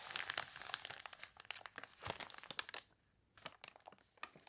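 Long nails scratch and fingertips press and crinkle the glossy, water-wrinkled pages of an open, wavy paper catalog on a table. Soft, bright, crunchy crinkles and scratchy rustles come in quick overlapping bursts, with almost no low end. They pause briefly around three seconds, then return as sparser crackles.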